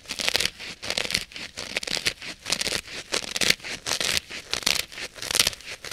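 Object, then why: Polyurethane foam kitchen sponge. Long nails scratch and press into the dry, porous, solid polyurethane foam side of a hand-sized blue kitchen sponge. The result is a rapid series of short, bright, rasping scratches with a crinkly, tearing texture, separated by brief pauses. There is almost no low end.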